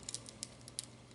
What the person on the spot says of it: I want to see if you can hear this crispiness. Do you hear that? That's how crispy these are.